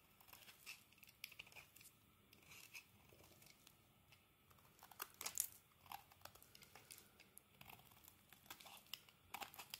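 A metal blade scrapes thin shavings from the flat surface of a solid green bar of soap held in the hand. The result is a quiet, bright, crisp crackling and shaving texture made of many short scrapes, with the loudest strokes around the middle and little low-end weight.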